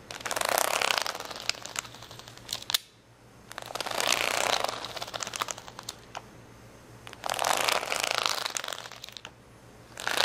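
Fingernails scratch and tap across the gem rows of an acrylic plastic rhinestone sticker sheet resting on a towel. Bursts of bright, crackly scratching alternate with quieter stretches of sharp, short clicks, with a faint low hum underneath.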